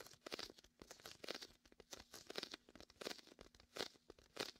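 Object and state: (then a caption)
Inflatable vinyl beach ball. Fingertips rub and peel across the sticky vinyl surface of a large red and white inflatable PVC beach ball, hollow and air-filled, positioned to the left of the microphone. Quiet, bright crackling and tearing-like bursts come in quick irregular clusters, each with a short snap and almost no low end.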